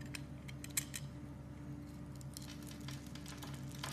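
A metal knife blade scrapes and slices thin strips off the pre-scored surface of a solid, hand-sized blue Arko Men bar soap held in a hand with red painted nails. Soft, bright crackling scrapes and short crisp cuts sit over a steady low hum, with one sharper snap near the start.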